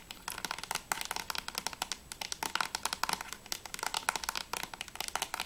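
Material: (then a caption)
Plastic. Fingertips tap quickly and nails scratch on a closed hard plastic PS3 game case for Remember Me as it is held and turned from front to back. The rapid, crisp clicks and scraping are bright and dry, with almost no low end and no ringing after each tap.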